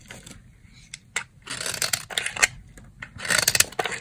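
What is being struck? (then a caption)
Soap bar shaved with a blade. The corner of a dry, solid brown soap bar is shaved with a box-cutter blade into fine flakes. Each stroke gives a short, dry, bright scrape, and the crisp bursts come in uneven clusters with quiet gaps between them.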